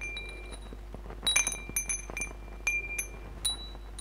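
A hanging wind chime of hollow metal tubes with glass crystal beads is strummed by fingers, knocking the tubes together. The result is a string of bright, sustained metallic rings with high glass bead clinks, arriving in several clustered bursts over a low steady hum.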